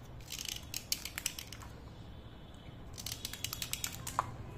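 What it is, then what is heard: Slate pencil being scraped. A steel utility knife blade scrapes the surface of a thin, solid slate pencil held between the fingers, and the powder falls onto a plate. Quick, bright, scratchy scrapes come in two clusters, with a quieter pause in the middle. A faint low rumble sits underneath.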